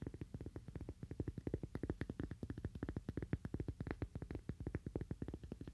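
A cork "Toaster Coaster" is tapped rapidly with fingernails, giving about fifty quick, dull, low-pitched taps. Each tap dies away almost instantly, with the sound sitting mostly in the low range and almost no high brightness.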